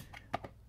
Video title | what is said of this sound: Ultimate Guide to Laser Cut Boxes | lightly tap it with a mallet until it sounds solid